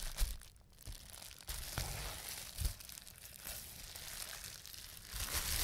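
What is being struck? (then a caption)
Plastic bubble wrap sheet. A clear plastic bubble wrap sheet with small air bubbles is pressed and squeezed with fingertips, producing sharp pops among continuous crinkling and rustling. The pops are brief, dry bursts with a low thump and bright, noisy crackle, and the crinkling grows louder toward the end.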